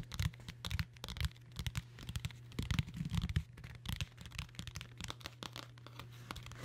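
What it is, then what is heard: Hardcover book cover scratched and tapped. Long nails scratch and tap on the cloth or faux-leather cover of a large dark blue hardcover book or binder with board underneath, held upright close to the mic. Quick dry scratches and soft, dull taps come in clustered bursts over a steady low hum.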